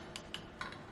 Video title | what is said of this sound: How To Upgrade Your Kitchen Faucet Under $200 - Amazon Find - My Fixer Upper EP 19 | it feels like plastic it sounds like plastic